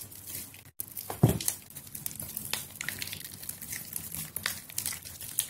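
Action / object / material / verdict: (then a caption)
scrape / bar of soap / soap / none. A solid white bar of soap, softened by soaking, is held in both hands over a water-filled plastic basin and squeezed and pinched by fingers with long yellow nails until it breaks into mushy flakes. Soft, wet crinkling and crumbling crackles run throughout, with a brief dropout early on and a louder squish just after, and the flaky crumbles sound bright and crisp.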